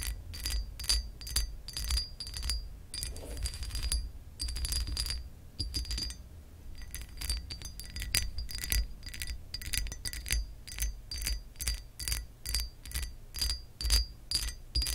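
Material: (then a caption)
Glass. Long acrylic nails scratch and tap along the ridges of a textured glass lamp base. The result is a quick, irregular run of bright, glassy clicks with a short high ring, mixed with rough scraping bursts over a low background rumble.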